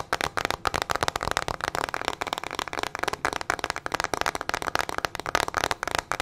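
The hollow back of a teal plastic paddle hairbrush with metal-tipped bristles is tapped and scratched quickly with long nails. The result is a dense, fast run of sharp, dry clicks and scrapes, bright in the upper midrange, with each tap dying away at once.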